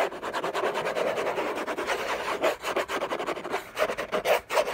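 Short fingernails scratch and rub fast across the textured paper surface of a large, flat, hollow orange Hermès cardboard gift box lid. The result is a dense run of dry, raspy scraping strokes centered in the midrange around 600 Hz, with almost no low end. The strokes overlap with short gaps and brief louder bursts.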